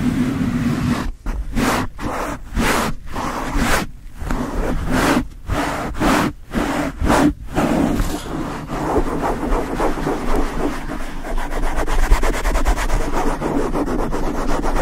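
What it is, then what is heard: Foam microphone windscreen being scratched. Long acrylic nails and fingertips of both hands scratch and rub the black foam windscreen on a Yeti microphone head. For the first half, separate bright, rushing swipes come in quick succession with short silent gaps. Then the gaps close into a continuous, dense crackling rub over a deep, boomy rumble.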